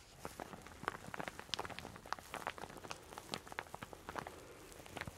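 A soft, hollow, empty teal satin shower cap is held close and scrunched and rubbed between fingertips and long dark-painted nails. It makes a quiet, dense run of quick, bright crinkles and rustling crackles over a faint steady hiss.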